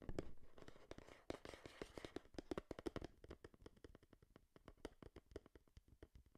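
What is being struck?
Small printed cardboard box.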